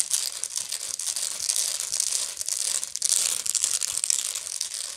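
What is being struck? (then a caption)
Woven straw bag. Long nails scratch the coiled woven bottom of a medium, hollow woven straw bag. The result is a continuous dry, crackly scratching, almost entirely bright and high with no low end. The scratching swells and dips in loudness throughout.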